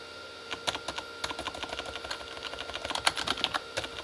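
Both hands type with their fingertips on a full-size Corsair K35 mechanical keyboard with red-backlit plastic keys. The result is a quick, irregular run of short, bright, clacky keystrokes with almost no low end, over a faint steady background tone.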